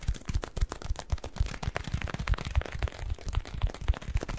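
A yellow latex rubber balloon filled with granular cat litter is squeezed and pinched with fingers. It gives rapid, irregular, dull crunching crackles that sit mostly in the low end, each grain-shifting pop short and dry with no ring.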